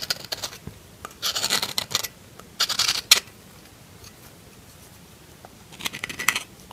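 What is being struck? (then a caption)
Soap bar carved with a metal knife tip. A solid pink bar of soap is carved with the tip of a metal knife, making scraping cuts. Short bursts of dry, bright scratching come in several clusters separated by quiet pauses, with almost no low end.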